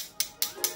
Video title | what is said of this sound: Review Mini Projector ISUN MB50 | ballnya di sini metal ya, bukan plastik ya. Ini bisa kalian dengar bunyinya nyaring.